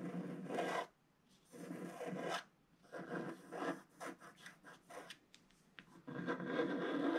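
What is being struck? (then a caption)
Wax-coated scratch art paper and wooden stylus. A wooden stylus scratches curved stripes into the black coating of a flat, wax-coated scratch art sheet held in the left hand. Dry, raspy scraping comes in bursts: long strokes at the start and end, with a run of shorter scratches in between, separated by brief silences. The tone sits mostly in the midrange with a faint bright edge.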